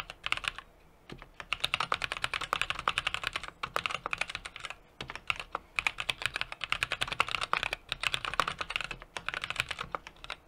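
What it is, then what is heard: Mechanical keyboard being typed on. A small 60% mechanical keyboard with an aluminum case, brass plate and plastic keycaps is typed on rapidly with the fingertips of both hands. Bursts of short, sharp key taps with a bright, clacky tone come in quick runs, separated by brief pauses, and each click dies away almost instantly.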